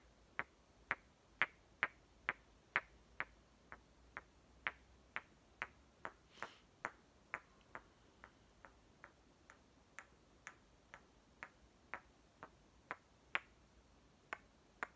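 Two palm-sized solid halves of a striped green toy watermelon, likely painted wood, are knocked together and tapped with fingertips. Twenty-eight short, dry, bright clicks land at a steady pace of about one per second, each dying away almost instantly over a faint hiss.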